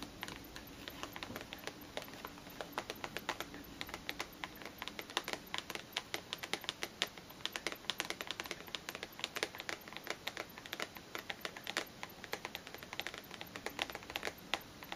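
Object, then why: Cellophane-wrapped cardboard box. Long green nails tap rapidly on the front and sides of an upright cellophane-wrapped cardboard perfume box. The result is a fast, steady stream of sharp, bright, crinkly clicks that die away almost instantly, with very little low end.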